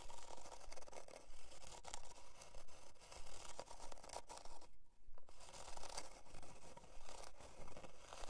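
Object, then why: Thin plywood heart-shaped board. Long dark nails scratch near the top of a thin, flat, solid plywood heart-shaped board, by the twine. Dry, bristly scraping strokes repeat in a quick, fairly steady rhythm over a low rumble, with a brief quieter gap midway.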